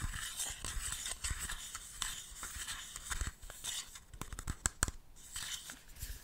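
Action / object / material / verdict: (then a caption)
scrape / small plastic compact case / plastic / none. A small, empty, hollow yellow plastic cushion compact case is held in the hand and scratched and tapped with fingernails. Bright, dry scratching fills the clip, broken by sharp, quick-decaying plastic clicks. The taps are crisp and short, with a low hollow knock under some of them.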